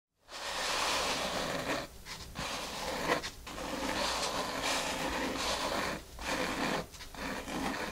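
Long natural nails with white tips scratch and tap across a large, flat, dark grey foam mat covering a table, using both hands on its solid, finely porous surface. The result is a dense, bright, steady scratching rustle with a few brief pauses and one sharper tap near the middle.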